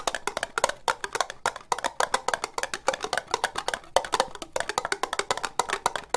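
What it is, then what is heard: Ribbed plastic cup tapped with nails. Long nails tap fast on an empty, hollow, orange ribbed plastic cup, producing a rapid run of roughly forty dry, clicky taps. Each tap is bright with a hollow mid tone near 540 Hz and dies away almost instantly.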